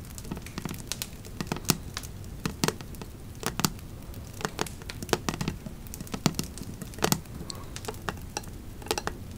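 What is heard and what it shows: Long nails scratch along the raised embossed lettering of a black metal candle lid and tap its flat surface. Many short, sharp, bright clicks and taps sit over a soft, steady low crackling bed, each dying away almost at once.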